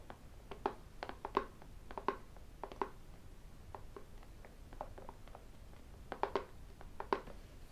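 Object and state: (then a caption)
Cardboard phone box. A small, hollow, closed white cardboard iPhone box is held between flat hands and tapped with fingertips and the rings worn on the fingers. The result is an irregular series of short, dry taps, some carrying a brief pitched click near 400 Hz and 1 kHz where a ring strikes, with almost no ring-out between them.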